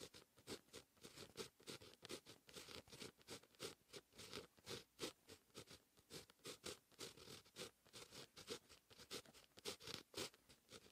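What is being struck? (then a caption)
Paper notebook page written on with a fine-tip pen. A fine-tip pen with a grey grip writes Korean characters on a lined white paper notebook page. The pen tip scratches across the paper in steady, quick strokes, giving a soft, bright, papery scratching with rapid bursts and short pauses between them.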